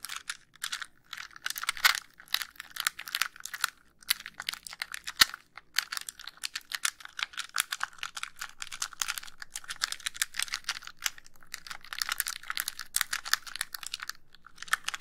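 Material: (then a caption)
Plastic. Long nails tap and scratch the casing of a white, hollow plastic handheld game console held over the microphone. The result is dense, rapid, bright clicks and scratchy rustles with almost no low end and no ringing.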